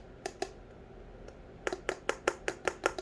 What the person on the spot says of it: sounds like plastic it's not i don't think